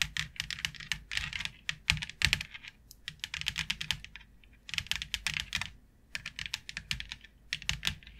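Long acrylic nails tap quickly on a white plastic plaid board with a fine grid texture, lying flat on a dark surface. The result is a dense run of sharp, bright clicks in bursts, broken by short pauses.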